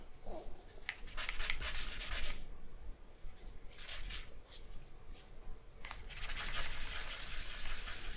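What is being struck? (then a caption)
Drawing paper sheet with charcoal stick. A charcoal stick is stroked and rubbed over a flat sheet of drawing paper lying on a wooden desk. Bursts of dry, bright scratchy rubbing come and go in irregular strokes, separated by quieter pauses over a steady low hum. The rubbing ends in a longer, sustained stretch of scratching.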